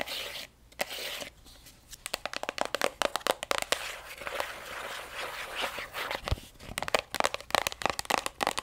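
Long acrylic nails tap and scratch along the flat printed face of a strawberry plastic cream tube held sideways. Bright, crisp clicks come in quick runs between stretches of raspy scratching, with no low-end body or ring.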